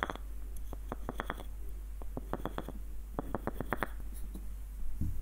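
Fingertips scratch and rub along the wooden threads of a small light-wood screw nutcracker with a hollow body and its threaded screw partly unscrewed. The result is quick, dry clicking scratches in short bursts over a steady low hum.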